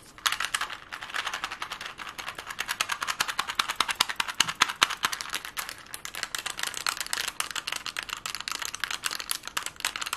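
A plastic Rubik's cube is tapped and twisted fast with long glittery nails. Rapid, dense, bright clicks and clacks run continuously for the full ten seconds with no low end, each click dying almost instantly.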